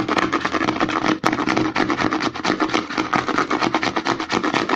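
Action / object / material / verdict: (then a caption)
tap / plastic lotion pump bottle / plastic / none. Fingertips and nails rapidly scratch and tap the side and label of a white plastic CeraVe lotion pump bottle held upside down. A dense, continuous run of dry clicks and scratchy rasps carries a hollow plastic tone around 316 Hz. There is a brief pause just after one second, followed by a sharp tap.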